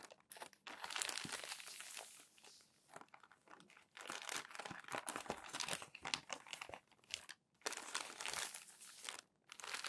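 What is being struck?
Glossy paper magazine pages.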